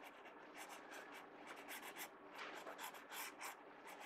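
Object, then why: Paper sketchbook page under a pencil. A pencil tip scratches and rubs shading strokes across the page of an open paper sketchbook. Soft, continuous scratchy strokes repeat and swell in brightness, forming a quiet, airy rasp with no low-end weight.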